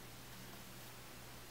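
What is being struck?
Nothing is struck.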